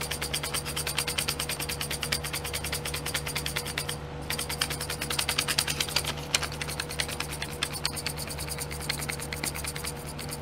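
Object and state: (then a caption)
Plastic glitter pot tray. Long painted nails tap and scratch the lids of small clear domed plastic glitter pots sitting in a pink plastic tray. Rapid, steady, bright clicking and ticking continues throughout, with brief pauses near 4 and 6 seconds, over a constant low hum. The clicks are crisp and short, with almost no ring.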